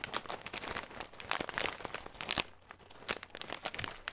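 A small clear plastic bag with a green label, full of nuts, is held up, then crinkled and squeezed with the fingertips. Dense, bright crackling and crunching runs in quick bursts, dips briefly quieter just past the midpoint, then picks up again with sharp crinkles to the end.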